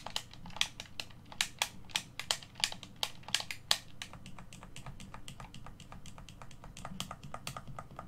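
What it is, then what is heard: Plastic game controller buttons clicking. Fingertips press and click the buttons and thumbsticks of a hollow black plastic Xbox One controller held in both hands over a white table. Sharp, bright plastic clicks snap out in a quick irregular run, louder through the first half, then settle into softer, denser ticking over a faint low hum.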